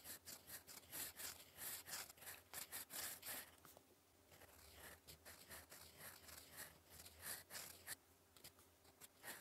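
A gold metal fountain pen nib, held in the fingers, scratches across flat, solid, lined cream writing paper on a desk while writing English cursive. Quick, bright, scratchy strokes come in uneven bursts, with a softer, quieter stretch near the middle.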